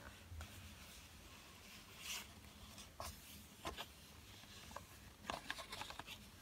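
A yellow Crayola cardboard pencil box, hollow and full of pencils, lies flat and is tapped with fingertips, then handled at its open end. The result is quiet, short, dry taps and soft rustling clicks with bright edges over a low, steady background hum.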